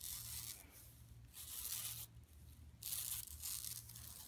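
Long nails of both hands scratch over the printed logo on a large, flat, empty yellow woven plastic mesh tote lying on carpet. Bursts of bright, hissy scratching come and go in waves over a steady low hum.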